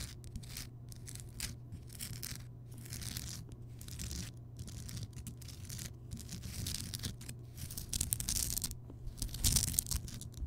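Long nails on both hands scratch the rough surface of a large, solid Himalayan rock salt lamp, close up. Dense, bright, crackly scratching comes in uneven bursts, with the loudest strokes near the end, over a steady low hum.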